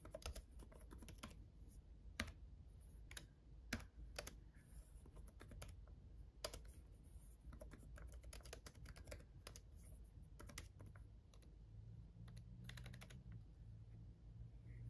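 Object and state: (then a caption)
Plastic laptop keyboard. Fingertips of both hands type on a black laptop keyboard with red backlit plastic keys. Quiet, rapid, uneven clicks run continuously, with short sharp bright taps over a steady low-heavy rumble. Each click dies away almost instantly.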